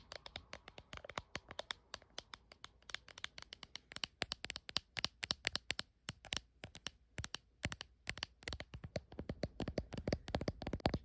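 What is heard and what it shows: Long nails rapidly tap and scratch the back of a hard plastic case with a dragon print on a blue iPhone held in the hand, with the phone itself recording. Dozens of sharp, bright, dry clicks come in quick, uneven bursts, with faint scratchy rustling between them. Each tap dies away almost instantly, and the overall level stays quiet.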